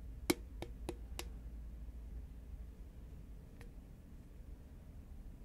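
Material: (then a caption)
Paperboard. A medium-size, hollow green Pringles paperboard chip can, held upright, is tapped with long nails. The taps are short, dry clicks with a hollow tone around 344 Hz, the first the strongest, followed by a few quieter ones and one last faint tap after a pause. A steady low hum fills the background throughout.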